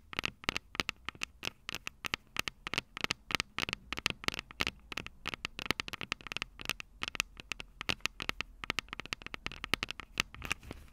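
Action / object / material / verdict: tap / metal microphone capsules tapped with fingernails / metal / none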